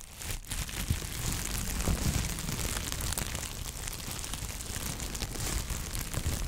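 A large, clear sheet of plastic bubble wrap, folded and held in gloved hands, is crinkled, squeezed and rubbed with the fingertips. A steady, dense crinkling and crackling runs throughout, with a heavy low rumble under a bright, hissy texture and occasional sharper pops.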